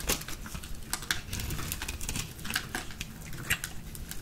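A small metal blade with a purple handle scrapes and shaves a green, solid, rectangular bar of dry soap held in the palm, and shavings fall off. The clip has a rapid series of dry, brittle scraping clicks and crackles with bright edges over a soft low rumble, with a few sharper snaps standing out.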